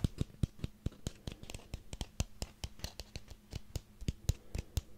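A small ribbed orange pumpkin is held in one hand while the fingernails of the other hand scratch and tap along its ribs. About two dozen quick, dry, clicking taps with a low, dull body come through steadily, separated by soft scratching, with a faint low hum underneath. Each tap dies away almost instantly.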